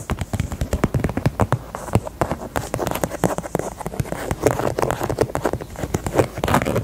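Long nails tap rapidly on the side of a small, hollow, pink faux leather heart purse. The result is a steady run of quick, dry, hollow taps with a soft low thump and almost no ring or brightness.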